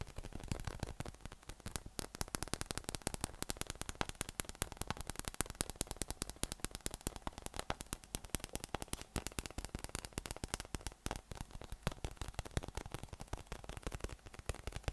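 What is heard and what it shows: A yellow soft-plastic PVC massage ball with raised nubs, about 20 cm across, hollow and inflated, is held in one hand and tapped on its underside with the fingertips of the other hand. Rapid, dense fingertip taps produce a continuous stream of short, dry, hollow clicks with a low thumpy body. The clicks stop almost instantly, over a faint low hum.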